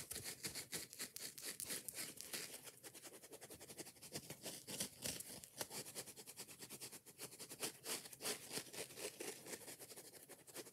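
A foam kitchen sponge with a scouring pad is squeezed in one hand while long nails scratch rapidly, mostly across its yellow foam side. The result is a fast, uneven stream of dry, crackly scratching bursts that are bright and hissy with little low end.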